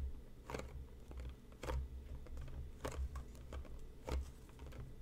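Fingertips and short nails tap along the sides of a hollow, closed, medium-size printed cardboard tea box resting on a cutting mat. The result is a slow, irregular patter of soft, dull, low taps with a few sharper, brighter clicks standing out. Each tap dies away almost at once.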